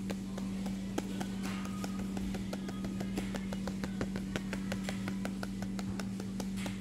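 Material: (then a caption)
Paper. A paper magazine is tapped repeatedly with no talking, producing a quick series of light, crisp taps with bright papery clicks. A steady low hum runs underneath the whole time.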